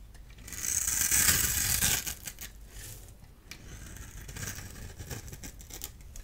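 A small blade tool shaves and scrapes a solid orange-and-white striped bar of dry soap held in the hand, sending orange crumbs falling. A loud, bright, dry scraping rasp swells in the first two seconds, then gives way to softer, quicker crackly scrapes and little crumbly ticks.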